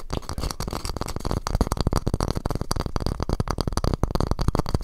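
A small, square, hollow, light wooden masu cup tilted on its side is tapped and scratched on its wooden walls with fingertips. The result is a rapid, continuous stream of dull, hollow, low thumps mixed with soft scratching, each tap dying away almost instantly.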